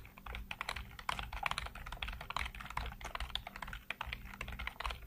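Fingertips type rapidly across a full-size black plastic computer keyboard with hollow keycaps. The result is a fast, uneven stream of short, dry clicks and clacks with a bright, hollow edge centred around 2.4 kHz, over a steady low hum.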